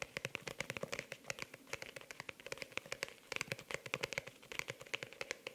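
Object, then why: Faux-leather hardcover notebook. A pink faux-leather hardcover notebook is held upright close to the microphone while long nails and fingertips tap and scratch fast across its cover. Dozens of quick, crisp clicks with a bright, ticking edge come in an uneven rapid stream, each dying out almost instantly, over a soft scratchy texture.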